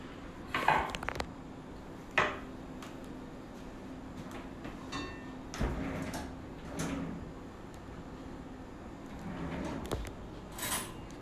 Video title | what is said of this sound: #cookwithJWU 5 27 20 | You can hear how crispy they've gotten since they've been in the oven.